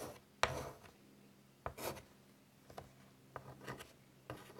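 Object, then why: Chalk on a wood-framed chalkboard. White chalk is drawn across a large, flat, wood-framed chalkboard in short, scratchy strokes. Each stroke is a brief, bright, raspy scrape that starts with a sharp tick, separated by near-silent pauses. The sound is quiet and close overall.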